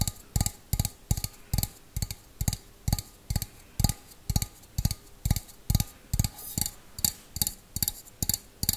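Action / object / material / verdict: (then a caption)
tap / small empty stainless steel bowl / stainless steel / none. Fingernails tap the outside of a small, empty stainless steel bowl held close to the mic, about 25 times in a slow, steady rhythm. Each tap is a short, dry knock with a deep low thump and a faint bright metallic tick above it that dies away almost at once.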